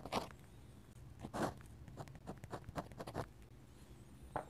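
A steel dip pen nib scratches dense hatching lines across a flat paper sketchbook page. The sound is quiet, dry scratching in short strokes and bursts, each with a brief rasp, and it is slightly louder near the start and end.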